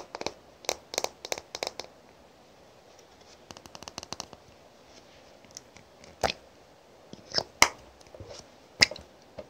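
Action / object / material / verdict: tap / thick glass perfume bottle / glass / none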